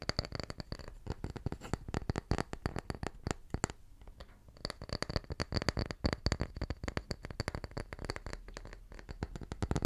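A small, round, solid wooden tree slice is held up in both hands and tapped rapidly with the fingertips. The result is a dense stream of short, dry, woody taps with a low, thuddy body that die away almost instantly, with a brief lull near the middle and a faint steady high tone underneath.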